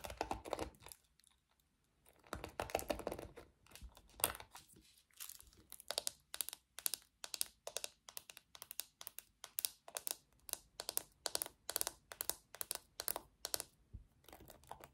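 Long nails scratch and then tap on the hollow back and pins of a small pink plastic paddle hairbrush. A few seconds of dry, crinkly scratching give way to a steady run of quick, bright plastic clicks with almost no ring. The clicks are soft and close, with little low end.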